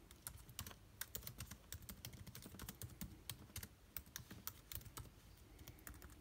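Fingertips type continuously on the black plastic keys of a silver aluminium laptop keyboard. A quick, steady stream of short, dry clicks, each with a bright tick over a soft low thud, dies away almost instantly.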